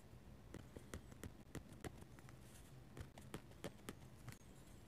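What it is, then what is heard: Pen nib scratching a paper sketchbook page. A metal-nib dip pen scratches lines across a paper sketchbook page. Quick, irregular strokes make short, crisp, bright scratching sounds over a quiet, low background rumble.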